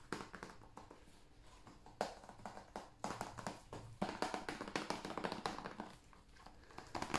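A hand-sized, hollow blue plastic PS5 game case is tapped with the fingertips on its cover and edge. The sparse, quick taps give dry, hollow clicks with a slight mid-range tone around 740 Hz and almost no ring. Louder clusters of taps come near the 2, 4 and 7 second marks.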